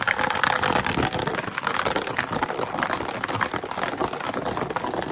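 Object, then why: Plastic drinking bottle. A clear, partly empty, hollow plastic drinking bottle with a blue cap is held in both hands and rapidly tapped, squeezed and scratched with fingertips and nails. The result is a dense, continuous stream of quick crinkly taps and scratchy rustling with bright mid-to-high tones.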